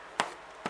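Two taps on a baked bacon and rosemary damper loaf, fresh from 15 minutes at 200 degrees and 20 more at 190, give short, hollow knocks that die away almost at once. The hollow sound shows the damper is baked through and ready.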